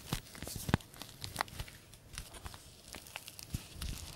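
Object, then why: Paper tea bag sachet. A small, green-printed paper tea bag sachet, flattened and folded, is rubbed and crinkled between the fingertips. It gives soft, dry crinkling rustles broken by a few sharper, brighter crackles and dull low taps. The whole sound stays quiet and close.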